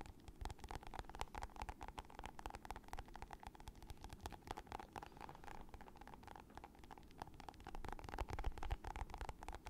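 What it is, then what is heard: Plastic lotion tube. A hand-sized, soft, squeezable plastic lotion tube with a green and purple leaf print and a white label, partly full, is held in the hands and tapped and squeezed with long nails and fingertips. The result is a quiet, steady stream of rapid, uneven clicks and soft crinkly squishes over a low, muffled rumble, growing slightly louder near the end.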